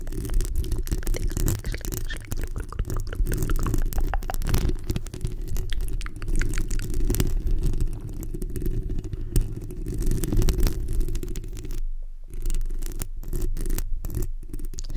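Long nails of both hands scratch across the hollow metal mesh grille of a black microphone, producing a dense, continuous scraping rumble that sits almost entirely in the low end. The scratching runs steadily throughout, with brief gaps near the end where it momentarily drops out.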